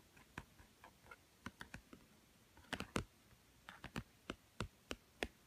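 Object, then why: Thick cardboard board book. Fingertips and nails tap the blue glossy cover of a small, thick, solid children's cardboard board book with many stacked pages, lying on a woven mat. The result is a quiet, irregular series of short, dry clicking taps with a soft low thud and a bright edge, each dying away almost at once.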